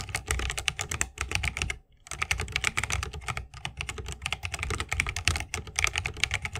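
Fingertips of both hands type fast on a 60% mechanical keyboard with plastic keycaps on Holy Panda tactile switches, set in a solid bamboo wooden case with RGB lighting and resting on a wrist rest. A dense, rapid stream of bright clacky keystrokes rides over a low, deep thock, with each press dying away almost at once. Typing pauses briefly just before two seconds, then carries on steadily to the end.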